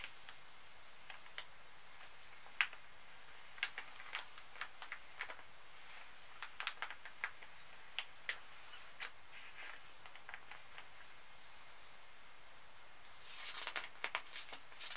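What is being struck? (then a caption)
Glossy paper magazine. Fingertips and short nails tap and scratch across the thin, flat printed pages of an open glossy paper magazine lying on a bed. Quiet, sharp, bright ticks and clicks are scattered over a soft hiss. A denser burst of scratching comes near the end.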